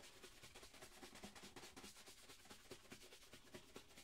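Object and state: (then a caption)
Leather dress shoe being brushed. A single hollow black leather dress shoe, held sideways, is brushed with a wooden-backed horsehair shoe brush in quick rub strokes. The result is a steady run of rapid, bright, scratchy swishes with a hollow, low knock under each stroke.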